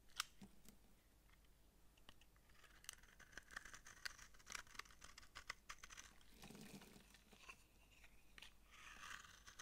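A utility knife blade scrapes powdery curls from the flat surface of a dry, solid, palm-sized pink massage soap bar held in the palm. The result is a quiet run of crisp, dry scratches and crunchy rasps, bright and papery, with short clicking strokes and no ring.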